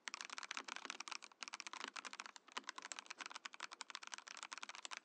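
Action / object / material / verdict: tap / mechanical keyboard, plastic case and plastic keycaps / plastic / none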